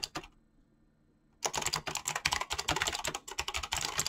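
Fingertips type on a mechanical keyboard with clicky switches and pink-blue PBT plastic keycaps. Two quick clicks are followed by a brief quiet pause, then a rapid, continuous stream of sharp, bright key clacks with very short ring.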